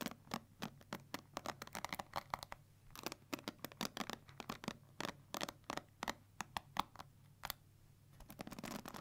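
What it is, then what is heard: Plastic paddle hair brush. Long nails scratch and flick across the black plastic bristles of a pink plastic paddle hair brush held in one hand. The result is a quick, irregular series of sharp, dry plastic clicks and scratchy ticks with bright, crisp edges and almost no ring. It ends in a denser run of rustling scrapes.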